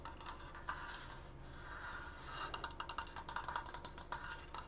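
A large open triangular Triforce frame made of solid wooden strips is held upright in front of a microphone and fast-tapped with fingertips and short painted nails along its top edges and crossbar. Quiet, rapid, hollow wooden clicks with a woody tone near 900 Hz die away almost instantly. The taps start soft and blurred together, then grow sharper and more distinct in the second half over a low background hum.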